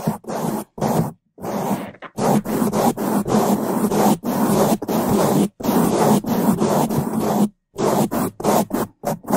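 Two bamboo toothbrushes held in gloved hands brush across the top of a black foam microphone windscreen. Fast, loud bristle scrapes on the foam come in irregular bursts with short silent breaks. The sound is a dense, muffled rasp, strongest in the low and middle range.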